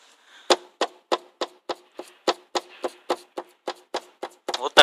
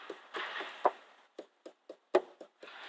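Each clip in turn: First: loose rattling tail light. Second: secure car tail light after repair.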